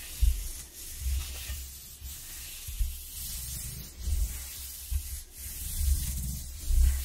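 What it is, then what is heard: Corrugated cardboard sheet. Long nails rub and scratch along the ridges of a ribbed corrugated cardboard sheet. The result is a dry, hissing scrape with soft low thumps, in irregular strokes roughly once a second.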